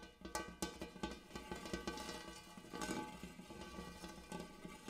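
Fingertips and nails of both hands tap rapidly on the dimpled inner surface of a large, shallow, empty gold hammered metal bowl. The result is a quick patter of bright metallic clicks over a faint ringing tone around 330 Hz, with each tap decaying fast.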